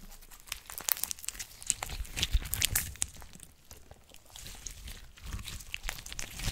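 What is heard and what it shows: A flat sheet of clear blue glitter slime is pressed and poked with long orange nails on a table, then folded and squeezed in the hands. This produces irregular bursts of bright, crinkly crackles and wet sticky pops over soft low squelching thumps.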